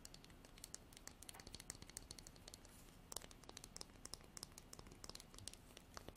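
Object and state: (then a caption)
Wooden comb strummed. Long nails strum the fine teeth of a light wooden comb with a natural edge. The result is a quiet, rapid run of short, dry, crisp clicks and ticks with bright high-frequency crackle and almost no ring.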